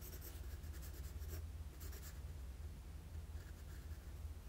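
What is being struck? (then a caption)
Graphite pencil on a sheet of drawing paper. A wooden graphite pencil makes sketching strokes on a flat sheet of drawing paper. Quiet, scratchy bursts of bright hiss come in short runs, strongest early and again near the two-second mark. A steady low hum sits beneath them throughout.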